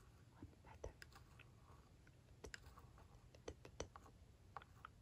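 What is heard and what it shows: The pointed metal tip of a glitter-filled tool traces and taps along the embossed lines of a red, hollow plastic toy barn roof panel. The result is quiet, scattered light ticks and clicks with very short decay over a low background rumble.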